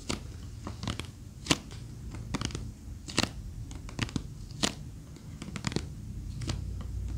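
A small rectangular box with a reddish wooden frame and a teal flamingo-print top, likely hollow, is held in both hands and rapidly tapped and scratched with long fingernails. Sharp, bright clicks come through at irregular moments over a steady low, scratchy rustle. The taps die away almost instantly with no ring.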